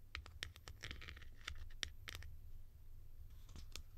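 A hollow blue plastic cap with a ridged white insert, held in the hand, is scratched and tapped with long nails on its textured top and sides. Quiet, dry, bright clicks and short scratchy bursts come in an uneven run over a steady low rumble, each tap dying away almost at once.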